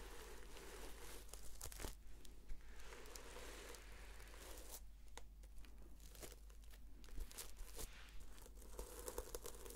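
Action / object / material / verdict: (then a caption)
scrape / sequin-covered notebook / plastic sequins / none. Long nails slowly scratch and flip the sequins on a red sequin-covered notebook held in both hands. The result is a soft, continuous crinkling and scraping with brief brighter clicks, over a steady low hum.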